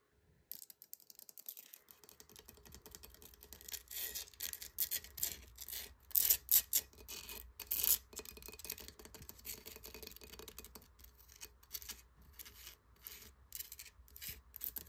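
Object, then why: Coral-encrusted conch shell. Fingertips and nails tap and scratch the rough, porous coral-like crust of a large, hollow, chalky conch shell resting on a wood surface. The result is dense, bright, crackly scratching with quick irregular taps, peaking in a few louder bursts midway. A faint low hum sits underneath from about two seconds onward.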